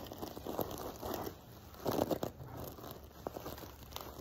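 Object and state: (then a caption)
Sequin-covered pillow being scratched. An open hand rubs and scratches the silver sequins of a sequin-covered fabric pillow with fingertips and nails, close up. Soft, dry crinkling and scratchy rustles rise and fall in brief bursts, with a louder cluster of crisp scrapes around the two-second mark.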